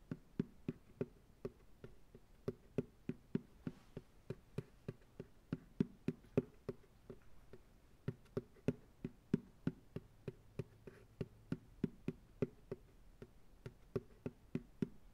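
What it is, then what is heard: Empty plastic pail, hollow. Fingertips tap on the bottom of an empty white plastic ice cream pail with a wire handle, held upside down on a lap. A steady run of quick, hollow, low-pitched knocks with a short ring, some louder than others, continues throughout.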